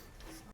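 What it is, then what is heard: Kick scooter drop test, solid and tight. A finished custom pro kick scooter with raw and army green metal parts is dropped onto the ground in a drop test. After a quiet stretch, a single deep, low thud lands at the very end, with almost all its energy below 200 Hz and no high rattle. It sounds solid, a tight build with no rattles.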